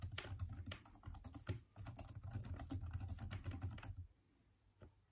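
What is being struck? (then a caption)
Plastic laptop keyboard. Both hands type fast with their fingertips on the backlit plastic keyboard of a Microsoft Surface-type laptop, its hollow keys giving dense, overlapping taps with a low, muffled thump beneath bright clicks. The rapid typing runs for about four seconds, then stops, leaving near silence broken by one faint final tap.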